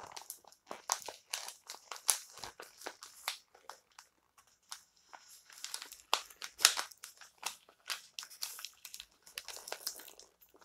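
Fingertips and nails rub and scratch across the glossy covers and edges of a small, solid stack of glossy paper magazines lying flat on a white table. The result is a quiet, dense run of short, bright, crinkly scratching and rustling bursts with almost no low end, each dying away almost instantly, with brief pauses between flurries.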